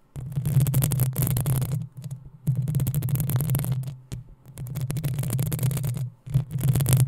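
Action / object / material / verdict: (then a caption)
scrape / metal mesh microphone grille / metal mesh / none. Long nails scratch the sides of the hollow metal mesh grille on a black desktop microphone, producing dense, gritty scraping with a heavy low throbbing rumble and a bright, hissy top. The scratching comes in long continuous bursts separated by brief near-silent pauses.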